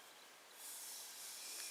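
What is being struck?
Nothing is struck.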